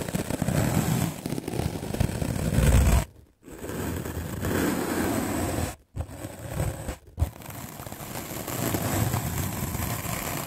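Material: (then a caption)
Melamine foam. A medium black-bristle paint brush scrubs aggressively across a white rectangular magic eraser block of solid melamine foam held in the hand. It makes a dense, continuous scratchy scraping with a heavy low rumble and faint bright hiss. The scrubbing stops briefly around 3 seconds, again near 6 seconds, and again near 7 seconds.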